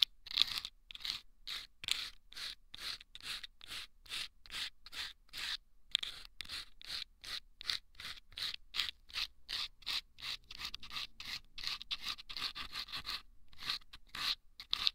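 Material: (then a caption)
Sandpaper. Wooden toothpicks scratch the sandpaper inside two small hollow rolled sandpaper tubes placed over microphone ears. About 32 quick, evenly paced rasping strokes are heard, each a bright, high, gritty scrape with almost no low end and no ring after it.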